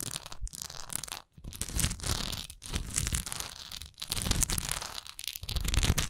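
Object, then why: Textured wax pillar candle. Long nails tap and scratch the textured side of a large solid wax pillar candle with a raised swirl relief. The result is a dense, crinkly scratching with bright hiss over soft low thuds, broken by a few brief pauses.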